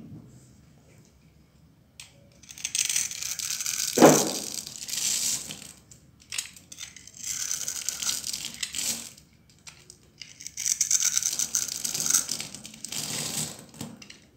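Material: Soap.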